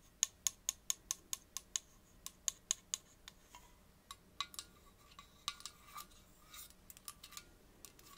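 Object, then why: Aluminium drink can. Long nails tap and scratch the side of a gold aluminium Coke can, turned to show the top, then move to the lid and ring pull. A quick, even run of bright, sharp clicks gives way to sparser, irregular taps and short scratches, about 18 hits in all, each dying away almost instantly.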